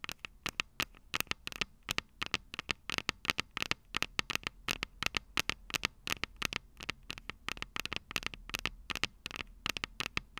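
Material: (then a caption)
Metal. Long purple nails tap rapidly on the small, hollow, silver metal microphone capsules of a Tascam DR-05 recorder. Dozens of quick, dry, bright clicks patter in an uneven rhythm, each cutting off instantly with almost no ring. A faint low hum runs underneath.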